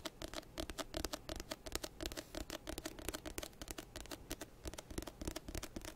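Fingertips scratch and tap on the cover of an orange-banded paperback textbook of solid paper, held up beside the microphone. A steady run of quick, dry taps and scratchy strokes gives bright papery clicks over soft low thumps, each dying out almost instantly with no ring.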